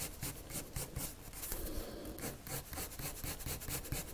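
A wood-cased colored pencil, held in the fingers, rubs and scratches its tip across a thin white paper sheet lying flat on a table in dense, rapid drawing strokes. The result is a soft, continuous scratchy rasp that pulses with each back-and-forth stroke, with a low thud-like body and bright, airy scraping on top.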